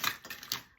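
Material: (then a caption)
Potato. Home-made potato crisps from an air fryer are stirred around in a bowl, giving a bright, dry clinking and rattling made of quick, short clicks with almost no low end. The crackly sound shows the crisps are crispy and dry.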